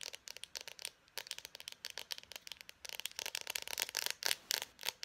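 An Expo dry-erase marker, a small hollow plastic barrel with its cap on, is held in both hands and rapidly tapped and scratched with long painted nails. About two dozen quick, dry, bright clicks and scratchy ticks come in uneven bursts, with no low end and almost no ring after each hit.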